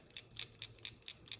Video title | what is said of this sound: Changing the MSR whisperlite stove | you can hear that that's that Shaker jet in there to clear out the carbon